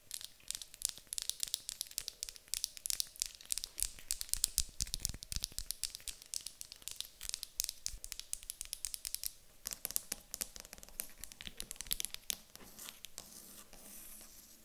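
A small, solid, light wooden cube is held in the hand and then set on a table while long acrylic nails tap and scratch across it. The result is a dense, rapid stream of bright, dry clicks and scratchy rasps with almost no ring, becoming a steadier, softer scraping texture near the end.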